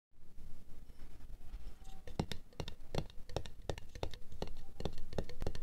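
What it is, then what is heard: Empty glass jar. Long acrylic nails tap and scratch a medium, empty, clear glass jar with a black lid lying on white fur. Soft, low scratching rustles first, then sharp, bright clicking taps follow in an irregular rhythm, each dying away almost instantly.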